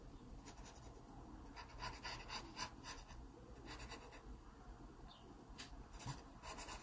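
A wooden pencil makes short strokes on an open paper sketchbook page, shading the stem area of a pear drawing. Quiet, dry, bright scratching comes in quick, uneven bursts over a low background hiss.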